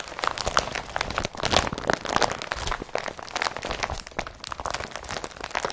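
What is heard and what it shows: An empty blue IKEA BRATTBY woven polypropylene carrier bag is pressed and rubbed with fingertips and palm. It makes a continuous run of dry, crisp crinkling and crunching, with quick, bright bursts that stop almost at once.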